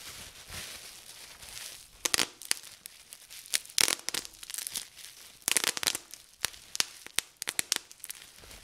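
Clear plastic bubble wrap is rolled in the hands while fingertips twist and pinch to pop its air-filled bubbles. Soft, high crinkling opens the clip, followed by a string of sharp, bright pops that snap off instantly between quieter rustling.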